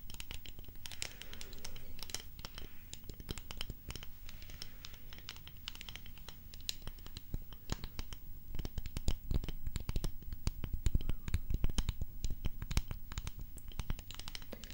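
A hollow, empty-looking white ceramic mug, held in both hands, is tapped and scratched with long painted nails. Rapid, dry, short clicks and taps mix with scratchy rubbing over a low background rumble. The tapping grows louder and denser in the second half.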